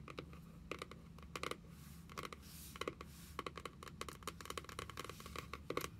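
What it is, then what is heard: Cardboard notebook cover. Long nails tap the printed card cover of a small closed paperback journal lying flat on a wooden table. Quick clusters of light, dry clicks come with a short soft scratchy rub partway through, over a faint low hum.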